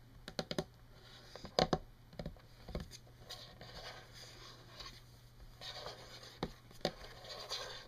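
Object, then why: Wood-grain tabletop. Long fingernails of both hands scratch and tap across a solid wood-grain desk surface, producing sharp, quick clicks scattered among soft, papery scratching passes. A faint steady low hum runs underneath throughout.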